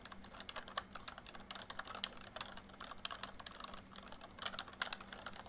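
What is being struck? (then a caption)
Plastic membrane keyboard. Fingertips type quickly on a full-size plastic MSI backlit membrane keyboard. A fast, uneven stream of short, dry key taps and clacks with bright high edges runs throughout, over a faint steady low hum.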